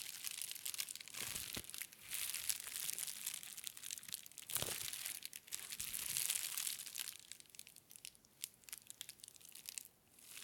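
Fingertips of both hands press, squeeze and scratch clear plastic bubble wrap wrapped around a plastic brain model. The result is dense, bright crinkling with irregular sharp pops and scratchy crackles, almost all in the high range with little low end, and a brief quieter pause near the end.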